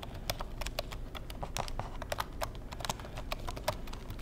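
Fingertips tap the keys of a black plastic Insignia keyboard in a quick, uneven run of short, dry clicks. Each tap has a bright plastic snap over a soft low thud and dies away almost instantly.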